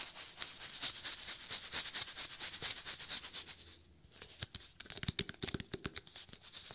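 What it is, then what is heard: Cardboard snack tube. Fingertips scratch and rub along the side of a small red Pringles cardboard tube held close to the mic. The first four seconds are a dense, steady, bright scratching. After a brief quiet gap, sharper, more separate scrapes and taps follow with a soft low thump.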